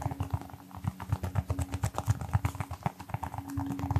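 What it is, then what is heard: Rubber mini football. A small brown textured rubber toy football, likely hollow, is held in one hand and tapped rapidly with the fingertips of the other hand close to the mic. The taps come as a fast, slightly uneven stream of soft, dull, low thumps with very short decay and little brightness.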